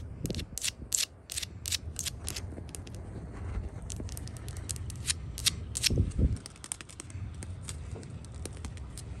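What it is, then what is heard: Painted wooden handrail tapped with nails. Long nails tap and scratch across the top rail of a white-painted, solid wooden porch handrail in a clicky rhythm. Sharp, bright clicks repeat over a steady low rumble, with a few heavier knocks near the middle and softer scratching between taps.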